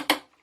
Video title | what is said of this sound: 2020 & Late 2019 Apex 245BHS AZDEL Ultralite Narrow Body Bunkhouse Outside Kitchen Coachmen Camper | if you do the wedding ring test you can hear that's not plastic